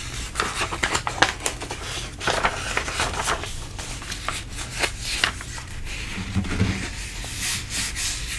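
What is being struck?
Glossy paper magazine page.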